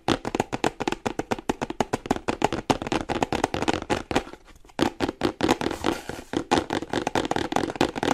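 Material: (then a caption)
Cardboard. Fingernails tap rapidly on the top edge and sides of a small printed cardboard charger box held upright. The result is a fast run of short, dry, papery clicks with almost no ring, centered in the mids. There is a brief pause just past the midpoint before the tapping resumes.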